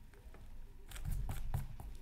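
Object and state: Scratch art paper card.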